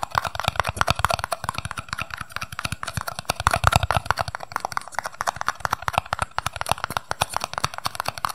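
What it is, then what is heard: Paper cup. A small, empty, hollow red and white paper cup is held in both hands while its sides and base are tapped fast with fingertips and nails. Dozens of quick, dry, hollow clicks with a light knocking body run in a steady, busy stream, each dying away almost instantly.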